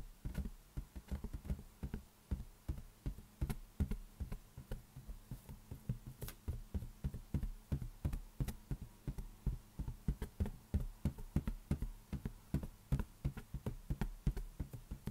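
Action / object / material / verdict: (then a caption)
tap / inflated latex balloon / latex / none. An inflated, hollow lime-green latex balloon resting on one hand is tapped repeatedly by the other hand's fingertips. A steady run of quick, dull, low thumps follows, each with a soft boomy body around 60 Hz and almost no high end. Each tap dies away almost at once.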